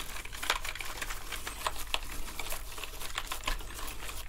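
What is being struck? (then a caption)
Plastic keyboard with foam-covered keys. Toothbrushes scrub across a black plastic gaming keyboard with foam on its keys, pressing the keys as they go. Quiet bristly scrubbing runs throughout, broken by scattered bright plasticky clicks and taps over a steady low rumble.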